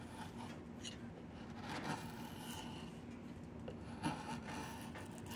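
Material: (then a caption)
Wood. A wood-handled steel chisel is pushed along a long, solid, peeled diamond willow branch being made into a walking stick, scraping and carving off bark and shavings where the bark is partly removed. Steady, grainy rasping and rubbing continues throughout, with a sharper scraping catch near the end.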